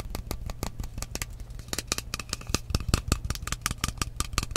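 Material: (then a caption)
Glass. Long manicured nails and fingertips tap rapidly on a tall frosted glass facial mist spray bottle with a metal cap, partly filled with liquid. Each tap is a short, dry click with bright high ticks and almost no ring, over a steady low hum.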